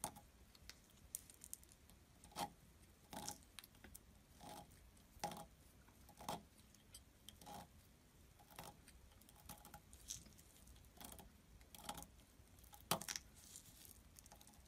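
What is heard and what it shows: A solid blue bar of soap, held in the fingers, is scraped and carved with a metal blade while flakes pile up beside it. Quiet, irregular strokes give soft, dry scraping and crisp cutting sounds that rise briefly with bright, papery texture over a low hush. Each stroke dies away almost at once.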